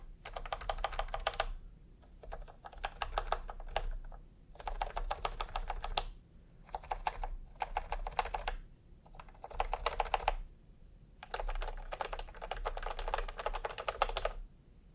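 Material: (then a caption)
Plastic. A full-size retro keyboard with a peach plastic case and round typewriter-style plastic keycaps is tapped by fingertips. Bursts of quick, clicky keystrokes come in several separate runs with short pauses between them, and each has a bright plastic click centered in the midrange with very little ring.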